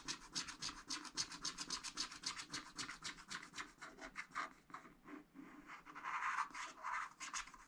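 A short wooden stylus, held close to the paper, scratches the coating of a wax-coated scratch-art paper pad while working on a flower. Rapid, fairly steady back-and-forth strokes make bright, dry rasping scrapes, with a few brief pauses and some stronger, fuller strokes near the end.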